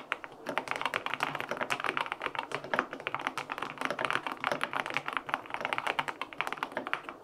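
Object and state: Mechanical keyboard being typed on.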